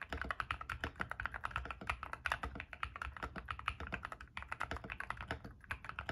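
A white-case ilovbee i61 60% mechanical keyboard with Frankenswitch P3-stem switches and white and grey PBT plastic keycaps sits on a desk mat and is typed on quickly with the fingertips of both hands. A steady stream of short, dry, clacky key presses follows, each with a mid-pitched click and a soft low thock that dies away almost instantly.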